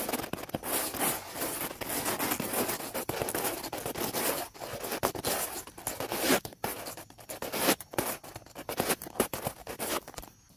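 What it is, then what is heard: Dry wooden log scrubbed with brushes. Two round black-bristled brushes, held by their handles, are scrubbed quickly across the top of a large, dry, weathered wooden log lying solid on the grass. The result is a dense, bright, scratchy scrubbing noise with little low end. It runs almost continuously at first, then breaks into choppier, sharper strokes separated by brief gaps.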